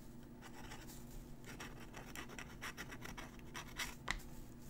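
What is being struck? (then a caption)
Crumpled paper sheet under a metal pen nib. A metal dip-pen nib scratches out cursive writing on a crumpled, aged-look paper sheet held down by a fingertip. Quiet, irregular bursts of dry, bright scratching come with each stroke over a steady low hum, and a sharper tick of the nib stands out near the end.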